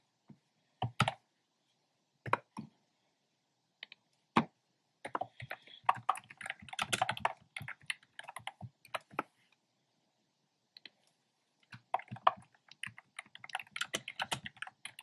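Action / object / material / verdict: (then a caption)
tap / plastic keyboard with round keycaps / plastic / none. Fingertips with short painted nails tap on a compact black plastic keyboard with hollow round pastel typewriter-style keycaps. Quick, dry plastic clacks come in scattered single presses at first, then in dense bursts of rapid typing separated by short pauses. Each click is sharp with almost no ring.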